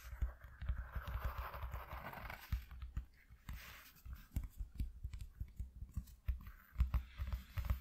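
Fingertips and nails rapidly tap and scratch a flat white corrugated cardboard sheet lying on a dark cloth. The result is a quiet run of short, dull thumps with a low body, mixed with soft scratchy rasps. A brief brushing hiss comes in the first two seconds, and the hits are tightly clustered and overlapping.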